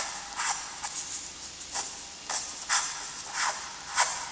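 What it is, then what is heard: Graphite drawing on toned paper. A graphite stick held in a gloved hand draws light, then darker strokes of a letter on a flat, lined, gray-toned drawing paper sheet. The result is a series of short, bright, scratchy scraping bursts with quiet pauses between them and almost no low end.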